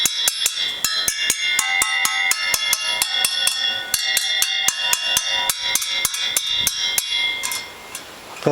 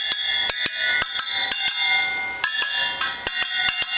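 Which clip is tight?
The second.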